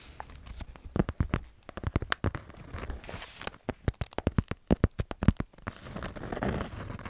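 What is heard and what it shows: A small kraft-paper, cardboard-covered notepad is held close to the microphone while long nails tap and scratch its cover and pages and fingertips rub them. Dense, sharp taps and papery scratches with a low thud form rapid bursts, broken by softer rubbing and brushing, especially near the end.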